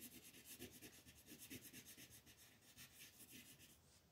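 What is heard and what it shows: A yellow wooden colored pencil is rubbed back and forth across a flat white paper mandala coloring sheet held by fingertips. The result is a quick, steady scratchy rubbing with a bright, papery hiss and soft low-mid body, repeating in short strokes throughout.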